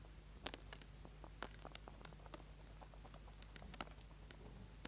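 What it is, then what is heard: Bar of soap being scratched. A small, solid orange bar of soap held in the hand over a board is scraped and carved with a small pointed tool, leaving shavings on the board. Quiet, crisp scratching clicks and short bright scrapes come in irregular bursts over a low, steady hum.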